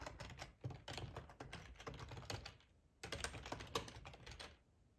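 Fingertips type on a black plastic ergonomic split keyboard with a hollow housing, resting on a cloth tablecloth. Quick, dull clacks come in a steady stream, then pause briefly near the middle before resuming. Each keystroke is a short, muffled tap with little ring, carried by low-end thuds and a light bright click.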